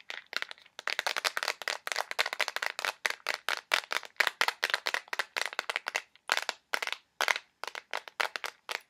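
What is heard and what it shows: A small clear plastic box filled with colored push pins is tapped quickly and aggressively with fingernails. The result is a rapid, uneven stream of sharp, dry clicks and cracks with a bright, crisp tone and no low end. Each tap dies almost instantly, with short pauses between bursts.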